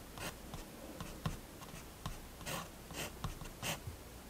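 A fineliner pen makes quick, repeated hatching strokes across a page of a spiral-bound paper sketchbook on a wooden table, while the other hand rests on the page. Soft, dry scratches of bright noise come in short bursts over a low, steady background hum.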